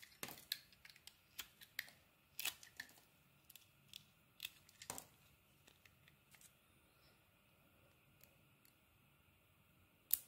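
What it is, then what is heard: Soap bar being carved with a blade. A metal blade scrapes and carves pieces off a solid oval pale green and blue soap bar with an embossed logo, held in the palm. Quiet, bright, crisp scraping clicks come in an irregular run, thinning into a soft hiss before one sharper cut at the end.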